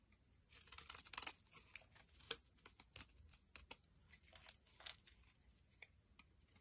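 A palm-sized, solid, translucent brown bar of soap, held in the hand, is scraped and shaved with a utility knife blade. The result is a quiet run of bright, crisp scraping and crackling strokes at an irregular pace, each one short and dry with almost no low end.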